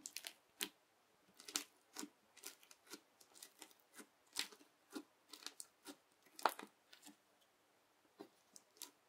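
A yellow plastic knife presses and cuts along a strip of teal crunchy bead slime. About twenty short, crisp crunching crackles sound in an uneven rhythm, each bright and dry with almost no low end. The bursts stop instantly against near silence at a quiet overall level.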